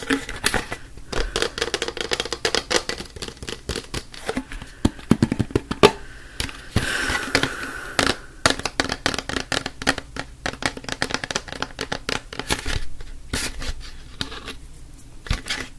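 A yellow-lidded plastic disinfectant wipes canister, held sideways and upright, is tapped quickly with fingertips and nails on its body and lid. The result is a dense run of short, dry, hollow clicks and knocks that stop instantly, mixing a mid-pitched body tone with bright nail ticks. Around seven seconds a brief, steadier hissy stretch sits between the taps.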